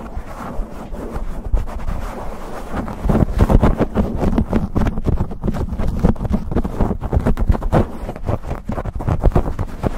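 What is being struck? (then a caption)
Foam microphone windscreen. Fingertips and nails rapidly scratch and rub a black foam windscreen on a microphone. The result is a dense, muffled, low-heavy rumbling scrape with fast rough strokes and no bright highs, growing louder and more vigorous after about three seconds.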